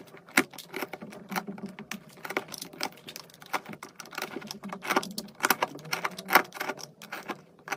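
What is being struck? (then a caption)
Bar of soap cut with a metal knife. A metal knife scrapes and carves a round, solid pink and white soap bar held by fingers, shaving off crunchy flakes. Dense, dry crackling scrapes and sharp little crunches come in rapid bursts, with bright edges and almost no low end.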